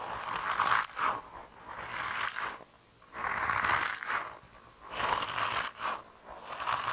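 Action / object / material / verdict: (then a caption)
scrape / soft rubber mouse toy / rubber / none. A hand-sized grey soft rubber mouse toy with whiskers and a tail, solid and flexible, is rubbed and squeezed with fingertips. It gives repeated squeaky, scraping rubber rubs centred around 1 kHz, with brief quiet pauses between the bursts.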